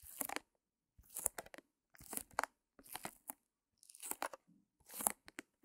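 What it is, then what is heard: Plastic-wrapped small canvas. A small white canvas in clear plastic wrap, resting on a fur rug, is scratched and tapped with long nails. Six quick bursts of crinkly, crunchy scratching and tapping come in steady succession, bright and dry with almost no low end.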